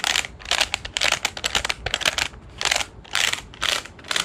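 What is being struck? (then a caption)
Plastic desk calculator. Fingertips press the plastic keys of a large dark grey JOINUS plastic desk calculator with a hollow casing, then tap the back of the case. Quick, irregular bursts of dry, bright clicks and taps come in clusters with brief pauses between them. Each click dies away almost at once, with hardly any low-end body.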